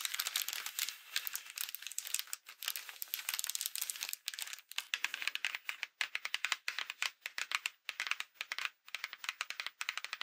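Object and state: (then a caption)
Paper greeting card. Long acrylic nails scratch and tap the front and inside of a Halloween paper greeting card with a folded-paper pumpkin on the front, lying flat. The sound is a dense run of bright, dry crinkling scratches and quick clicky taps, with almost no low end. Short pauses break it up, and no tap rings on.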